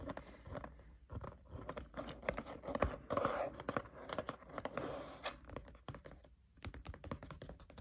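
Fingertips of both hands tap on the green cover of a spiral notebook lying flat. The result is a quick, uneven run of soft, dull taps with a low thump and brief scratchy brushes of the cover between them, each tap dying away almost at once.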